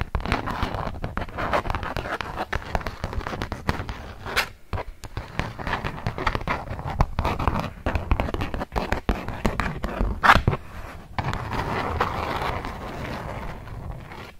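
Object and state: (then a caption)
Beeswax-coated cotton food wrap. A flat polka-dot beeswax-coated cotton food wrap sheet is rubbed and scratched by hands with long nails, producing a dense stream of crackling, crinkling scratches with many quick sharp clicks. The sound is steady and mostly low-heavy with a mid-range rasp, pausing briefly a few times before resuming.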